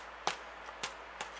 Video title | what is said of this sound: Potato Cheese Scones - scone recipes - savory scone recipes | Flick them and they sound hollow.